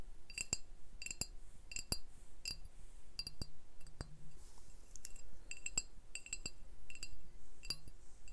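Glass beer bottles are tapped in a quick, uneven series of sharp clinks. Each tap gives a bright, high glassy ping that dies away almost at once. No speech is heard.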